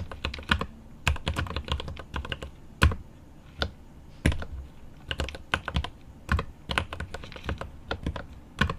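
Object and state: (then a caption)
Mechanical keyboard being typed on. Both hands type with their fingertips on a 75% mechanical keyboard with plastic keycaps and an aluminum case. The quick, deep, low-heavy keystrokes come in rapid bursts separated by brief pauses, each one cutting off almost instantly with a bright click on top.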